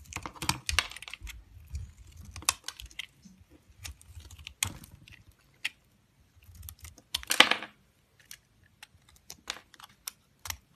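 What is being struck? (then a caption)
Bar of solid soap cut with a knife. A cream-colored solid soap bar, held in the hand, is cut and shaved with a yellow-handled utility knife. Crisp, bright scraping and crackling clicks come in irregular bursts, with a longer, louder shave near the middle-end before sparse single clicks trail off.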